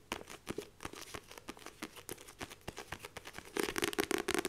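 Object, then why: Paperback book with laminated cover. Long nails rapidly tap and scratch the glossy laminated front cover of a paperback copy of "Rich Dad Poor Dad" with a solid page block, held in both hands. Quick, dry clicks with a papery crinkle and a hollow tone near 395 Hz come in a steady run, then turn louder and denser with bright scratching over the last second.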